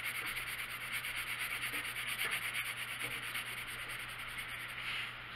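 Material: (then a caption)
Paper. A hand shades a small area of an open paper coloring book, lying flat on a wooden table, with a blue colored pencil while the other hand rests still on the page. The pencil lead rubs and scratches across the paper throughout in a soft, bright, continuous hiss, rising and falling with loosely rhythmic back-and-forth strokes.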